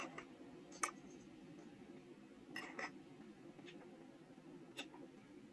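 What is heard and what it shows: A steel carving-knife tip scratches grooves into the face of a small, solid, square soft stone seal block held in the fingers, leaving stone dust. A handful of short, bright, scratchy clicks come at irregular intervals and die away almost instantly. Between them runs a quiet, steady low hiss.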